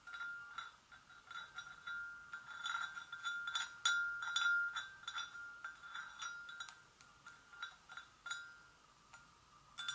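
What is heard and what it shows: Long acrylic nails on both hands gently tap the sides of an empty, hollow, medium-sized white porcelain gravy boat. Quick, irregular clinks ring with a clear tone near 1.4 kHz and bright overtones, each fading out over almost a second.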